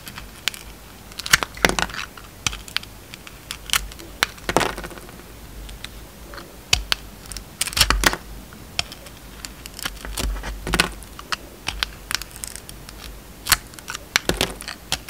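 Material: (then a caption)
Soap. A solid round bar of soap, glittery purple outside and pink inside, is shaved with a utility knife. Crisp, bright scraping and cutting strokes come in quick, irregular bursts, each dying away almost at once, over a quiet background.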